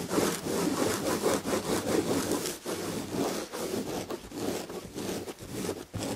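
Long red-painted fingernails of both hands scratch the back of an upholstered chair covered in red and gold damask chenille/tapestry fabric with a firm padded surface. The result is a steady, loosely rhythmic rasping scratch at about two to three strokes per second, with a mid-range body and a bright, hissy texture.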